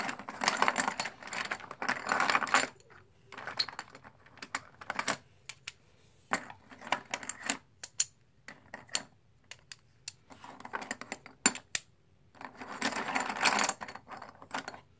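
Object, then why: Plastic poker chips. Fingertips stack solid plastic/composite poker chips in the palm over a white tray and drop them onto each other. Dense bursts of rapid, bright clattering clicks open and close the clip, with sparser sharp single clicks in between. The clicks are dry with almost no ring and little low end.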